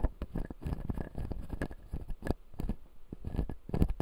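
Fingertips and nails tap and scratch the white resin teeth of a clear acrylic full-jaw dental model. The result is a quiet, steady patter of soft, dull clicks and short scrapes, weighted toward low, muffled tones, with each tap dying away almost at once.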